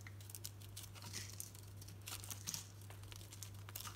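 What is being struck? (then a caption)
Painted bar of soap. A solid green Dalan soap bar with a brown painted coating, held in the palm, is shaved with a utility knife blade, so the coating and soap curls peel off. Quiet, irregular crinkly scraping comes in bright bursts over a steady low hum.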